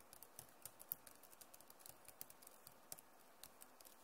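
Both hands type fast on the plastic keys of a backlit Acer laptop keyboard, producing about nineteen quiet, bright clicks and taps in quick, uneven succession. Each keystroke is short and dry, dying away almost instantly over a faint steady hiss.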